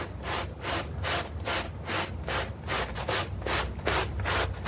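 A bristle brush scrubs a small, foamy, green artificial-grass synthetic turf doormat while the other hand pins the mat in place. The strokes make steady, rhythmic, bright rasping swishes at a brisk back-and-forth pace, with a faint low hum underneath.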